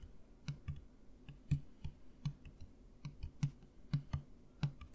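A clear plastic Listerine mouthwash bottle, partly full of blue-green liquid, is held upright and tapped with fingertips. The taps come as a quick, uneven series of soft, dull thuds with a low hollow tone and faint clicky tops. Each one dies away almost at once.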